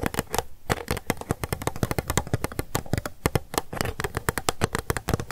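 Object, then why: Small plastic cup. A small, hollow, empty, transparent pink plastic cup is held sideways in both hands and tapped fast with long acrylic nails. The result is a dense, uneven run of short, dry clicking taps, each with a low hollow thump under a crisp bright tick, and almost no ring between them.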